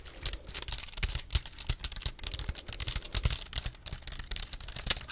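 A slim black plastic wireless keyboard is held up while fingertips and nails tap and type on its keys. The result is a rapid, uneven run of sharp, bright plastic clicks with a soft low thump under each keystroke.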